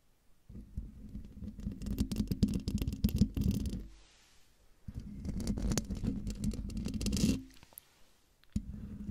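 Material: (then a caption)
Metal mesh. Long dark nails scratch the sides of the hollow metal mesh grille on a silver condenser microphone. Three bursts of close, rough scratching are heard, each a low buzzing rumble around 200 Hz with crackly bright scrapes on top, separated by brief quiet gaps. The last burst is cut short at the end.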